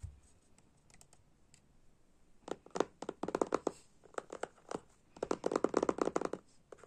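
A small, hollow, rectangular box of glossy laminated cardboard holding an oracle card deck lies flat on purple fabric and is tapped and scratched with the fingertips and short nails of both hands. Soft, faint scratching gives way to bursts of quick, dry, clicky taps with no ring, the densest clusters coming near the middle and end.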